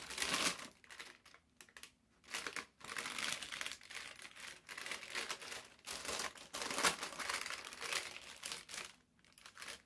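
A large, thin, crumpled sheet of brown parchment baking paper lies on a table while fingertips press, smooth and fold one corner of it. The paper gives off bright, dry crinkling in uneven bursts, separated by brief quiet pauses, with almost no low end.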